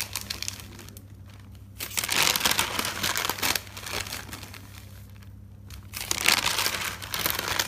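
Fingers flip the white pages of a thick paper notebook with a green cover resting on a table. Two bright, crinkling bursts of paper rustle rise out of quieter stretches, with a faint low hum underneath throughout.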